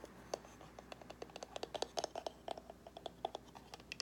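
Long nails scratch and tap the sides and lid of a small, hollow white cardboard gift box with gold-foil edges. The result is a quick, uneven run of short, dry taps and scratches with a hollow mid-range tone around 680 Hz and bright clicky tops, each dying away almost instantly.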